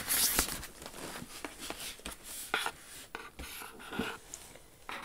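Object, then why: Cardboard shoe box lid. Long acrylic nails scratch and rub the smooth lid of a large white Jimmy Choo cardboard shoe box. Dry, bright scraping and rubbing strokes are broken by several sharper clicks of the nails against the cardboard. The sound is quiet, close and thin, with little low end.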